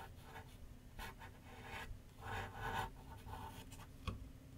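A graphite pencil shades with light scratching strokes on a large white paper sheet mounted on a flat board on an easel. Soft, dry rasping strokes come in bursts over a steady low rumble, ending with a sharper tap-like scratch near the end.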